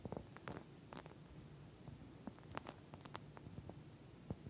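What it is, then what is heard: Plastic gel bead eye mask. Long nails scratch and tap across the surface of a pink plastic eye mask filled with gel beads. The result is a quiet run of soft, squishy scratches and short, dry clicks over a low, muffled rumble, with a few sharper, brighter taps standing out.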